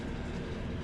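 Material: Nothing is struck.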